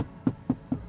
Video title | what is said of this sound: Tesla build quality is IMPRESSIVE | you can hear how hollow it sounds